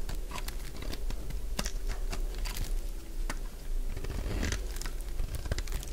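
A dry, solid purple lavender soap bar is held in one hand while its surface is shaved and scraped with a metal utility blade. The result is a steady run of crunchy, crackling cutting and scraping sounds with short, sharp clicks and no ringing.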